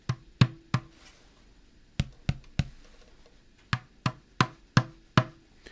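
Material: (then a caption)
Paper, metal. Eleven sharp taps on the tapered cone of an 8-inch speaker give short, dull, low knocks centered around 125 Hz. A faint ringing tone from the metal basket lingers after several of them. This cone is not as quick to damp as an NS10 woofer cone.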